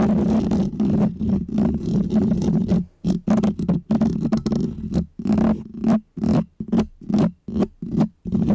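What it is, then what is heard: Foam microphone windscreen being scratched. Painted fingernails of both hands scratch a small, round, white, textured foam windscreen on a microphone. The result is dense, close, rustling scratches with a heavy low rumble and a steady low hum. The first few seconds are continuous, then the scratching breaks into quick, uneven bursts separated by brief silences.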